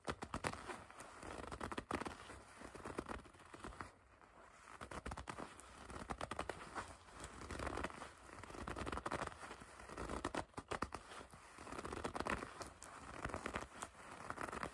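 Long red nails pinch, grip and scratch the soft leather of a bunched dark leather jacket near its collar drawstring. The result is quiet, continuous crinkling and scratchy rustling in uneven bursts, centred in the mids with some brief brighter crackles.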